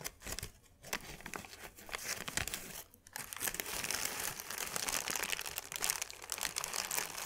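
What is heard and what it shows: A thin white paper sheet is twisted and crinkled between both hands, giving dense, bright crackling and crinkling with almost no low end. Brief quiet gaps come near the start and around the three-second mark, then the crinkling runs continuously to the end.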